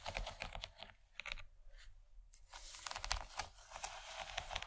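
Long nails on both hands tap rapidly on a large, empty yellow plastic tray, making quick bright clicks over a steady low rumble. The tapping thins into a quieter, softer stretch near the middle, then picks up again in dense bursts of sharp, dry clicks that stop short with almost no ring.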